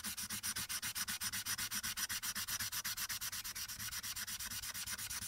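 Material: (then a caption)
Paper. A light-blue marker tip rubs back and forth across a printed paper coloring sheet lying flat on a dark backing, filling in the background. It makes a fast, steady run of dry, bright scratchy strokes with almost no low end. Each stroke ends abruptly with no ring.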